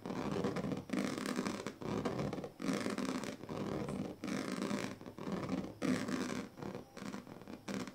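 Pink plastic comb teeth are dragged across the strips of a large, flat woven plastic sleeping mat. Repeated rasping strokes with a fine, ratcheting scratch texture are separated by short pauses, with most energy in the low-mid range and only a faint bright edge.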